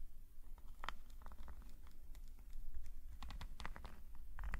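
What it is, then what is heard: Metal nib pen scratching on a sketchbook page. A metal nib pen scratches small strokes on a black paper sketchbook page lying flat. Quick, dry, bright scratches and ticks come in uneven bursts over a steady low hum, with each stroke stopping almost at once.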